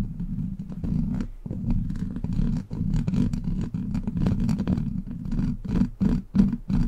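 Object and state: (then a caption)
Metal mesh microphone grille being scratched. Long black plastic claw nails grip and scratch a hollow steel mesh microphone grille, making a dense, low, rumbling scrape with rapid gritty ticks. The scratching runs almost continuously with brief pauses, growing choppier and more clipped toward the end.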